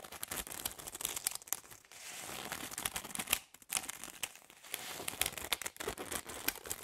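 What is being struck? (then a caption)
Bundle of plastic drinking straws. Fingers and nails rub and flick the ends of a bundle of hollow plastic drinking straws held in the hands. The result is a steady, bright, crinkly rustle full of quick, dry ticks and clicks, with brief quiet gaps before the scratching resumes.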